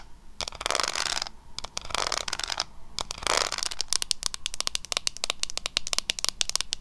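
Long nails tap and scratch a small, flat pink W7 "Berried Treasure" eyeshadow palette, a metal tin with a printed lid, which is then moved or shaken. Bursts of bright, hissy scratching alternate with sharp, quick-decaying clicks that grow into a rapid run of taps toward the end.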